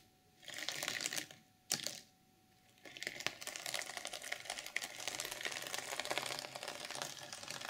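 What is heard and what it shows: Fingers and nails scratch and flip the sequins on a flat, reversible sequin fabric journal cover. Two short bursts of bright, crisp rasping come first, followed by a steady run of dense, high clicking and scraping until the end.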